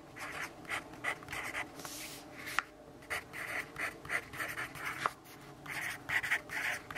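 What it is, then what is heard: Pencil writing on a paper notebook page. A yellow pencil writes continuously on the page of an open lined paper notebook, making a scratchy stroke on the paper surface. Quiet bursts of dry, papery rasp centered in the midrange with bright hiss come in quick stroke-by-stroke rhythm, broken by brief pauses and a few sharper ticks as the pencil taps or lifts.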